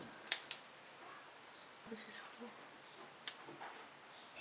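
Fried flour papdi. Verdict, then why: Crispy. A second batch of shaped fried flour papdi, resting in a steel strainer to cool, is given a sound test for crispness. Three sharp, bright cracking snaps stand out over a quiet background. The papdi is very crispy.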